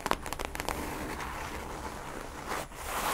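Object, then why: Non-woven fabric tote bag. Long manicured nails scratch and rub across a flat, empty teal non-woven fabric reusable tote bag with printed text, lying on a fluffy rug. Several quick crinkly scratches open the clip, followed by a steady, soft rustling and crackling of the fabric.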